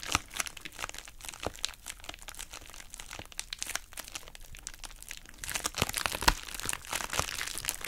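A pink, heart-shaped, hollow plastic bubble wrap pouch is squeezed and crumpled with fingertips and long nails. Bright, crisp crinkles and sharp crackles rattle densely throughout, with louder, fuller crunches near the end.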